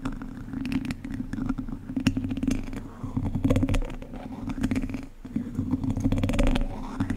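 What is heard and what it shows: The tips of two wooden chopsticks scratch and tap across the hollow, domed wire-mesh grille of a large condenser microphone. A dense stream of short, dry clicks and raspy scrapes rides over a steady low, boomy drone that swells and fades in waves. The texture dips briefly near the five-second mark before building again.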